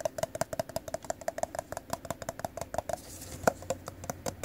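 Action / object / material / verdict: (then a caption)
tap / plastic party cup / plastic / none. A hollow, apparently empty teal plastic party cup is held in the hands and tapped and scratched with the fingertips and nails on its glossy side. A quick, steady run of light, hollow clicks with a short ring near 650 Hz gives way to a brief soft scratching stretch. A sharper, louder tap and a few more clicks follow.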